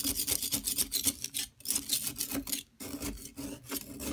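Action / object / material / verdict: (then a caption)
scrape / plaster block scraped with a metal knife / plaster / none. A metal palette knife scrapes the surface of a solid yellow plaster excavation block, steadied by a hand with long nails, rasping off plaster powder. The scraping comes in quick, bright, gritty strokes with brief pauses, including a near-silent gap around the 2.7-second mark before the scraping resumes.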